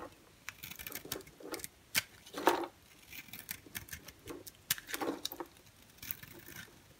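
A utility-knife blade shaves flakes from the surface of a solid white bar of soap held in the hand. Quiet, irregular bursts of crisp, bright scraping and cutting come in quick clusters, with a few sharper strokes standing out.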